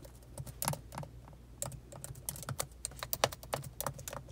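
Long pointed acrylic nails and fingertips on both hands type slowly on the black plastic keys of a silver laptop, with an echo effect on the audio. Irregular, sharp clicking taps with bright, clacky tops sit over a steady low hum.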